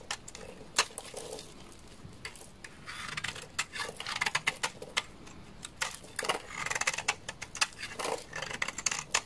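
A utility knife blade shaves flakes off the edge of a solid, dry white bar of laundry soap. It makes bright, crisp scraping and crackling, with many short, sharp clicks that die away almost instantly.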